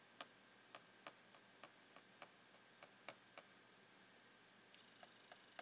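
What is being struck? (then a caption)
Clear plastic box of rolled socks. The tip of a blue plastic pen taps the plastic lid of a long, clear plastic retail box full of rolled socks. Light, irregular, bright clicks sound one after another, each dying away almost instantly over a steady, quiet hiss.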